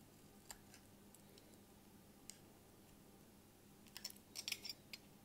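A bare utility-knife blade shaves and scrapes thin curls off the edge of a hand-sized, solid cream-colored rectangular bar of household laundry soap held in one hand, with flakes falling. Eleven short, crisp, bright scraping clicks are heard: a few are spaced apart early on, then they bunch into a quick cluster near the end. A faint low hum runs steadily underneath.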